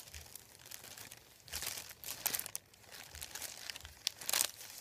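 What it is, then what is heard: Folded paper sheet being crinkled. Fingertips rub and press a thin, folded sheet of white printed paper lying on a wooden table. The result is a quiet, continuous run of bright, high crinkling and rustling with no low end, swelling into louder bursts of crinkle near the middle and end.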